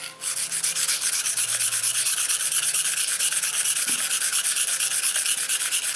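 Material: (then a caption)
Stone. A steel knife blade is drawn back and forth across a dark grey solid whetstone in steady sharpening strokes. About twenty quick rasping scrapes follow one another almost without pause, each a bright, hissy rub that swells and fades in an even rhythm.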